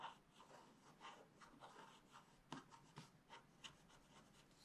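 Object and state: Scratch-art paper scraped with a wooden stylus.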